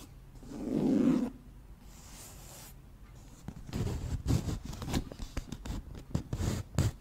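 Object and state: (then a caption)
Empty hollow cardboard box. An empty, hollow, round white cardboard flower box is tilted in the hands while long nails scratch and tap its surface. A soft, muffled swell of low rustling comes first, then a quiet pause, then a busy run of dry scratches and hollow, dull taps.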